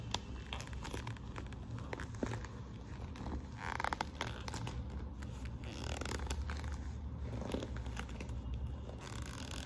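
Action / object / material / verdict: scrape / quilted patent faux-leather handbag / faux leather / none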